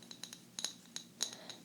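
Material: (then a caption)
Ceramic. A ceramic egg planter, holding soil and pansy seeds, is handled and tapped about nine times. Each tap gives a bright, glass-like clink that dies away almost at once.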